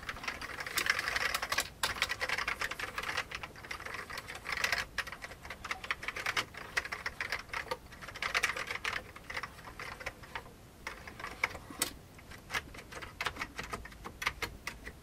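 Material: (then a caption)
Plastic. Fingertips type on an old beige full-size plastic keyboard with hollow keycaps. Rapid bursts of dry, bright key taps die away almost instantly, with a few brief pauses between runs. There is little low end under the clatter.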